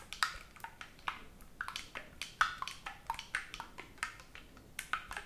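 Fingertips tap and press the silver metal keys of a black oboe, a hollow tube held in front of the chest and not played with the mouth. The result is an irregular run of quiet, crisp clicks, each with a brief bright ping around 1.3 kHz that dies away almost at once.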